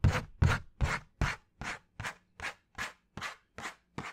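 A flat piece of brown cardboard held near the head is scratched and tapped with fingernails. Eleven short, separate rasping strokes come at a fairly steady pace, each a broad scratchy burst with a low thump underneath. The first four strokes are loudest and the rest settle to a softer, even level.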